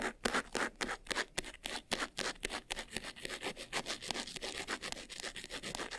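Fingertips and nails scratch quickly across the sides and front of a closed, hollow, medium white textured faux-leather jewelry box. The result is a fast, somewhat uneven run of short, dry, bright scratching strokes, about three to four per second, with very little low end and no ring after each stroke.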